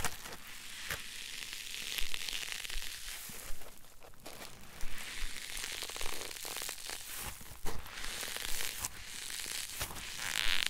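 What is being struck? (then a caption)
Polyethylene foam block. A solid green polyethylene foam block is squeezed and crushed repeatedly in both hands, giving an irregular stream of dry crackling and crunching with a bright, hissy edge. Sharper crackles stand out now and then over a steady rustling texture throughout.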